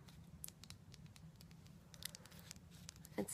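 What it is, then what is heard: Wax candle. Fingers tap quickly and lightly on a wax candle, making a soft, dry patter of short clicks over a low steady hum. A louder tap lands near the end. It is a basic, nice tapping sound.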